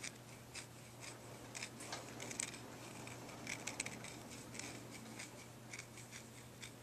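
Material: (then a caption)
Antler. Fingernails scratch and rub along a pale, solid, forked deer antler dog chew held in the hands. Quiet, bright, dry scraping comes in short, separate bursts with no ring, over a faint steady low hum.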